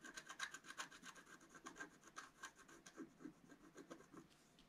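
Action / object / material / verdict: scrape / black-coated paper scratch-art card scratched with a wooden stylus / coated paper / none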